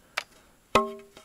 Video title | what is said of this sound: Stone Roof #3: Race to the Top | you can hear kind of a rattling listen you hear that kind of buzz